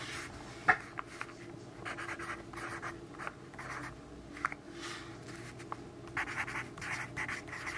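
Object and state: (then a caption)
Pencil writing on a paper notebook page. A yellow graphite pencil writes dense text on the page of an open grid-paper notebook. Quiet bursts of dry, bright scratching come stroke after stroke, broken by a few sharp clicks as the pencil meets the paper.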